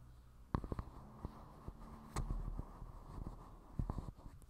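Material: Plastic.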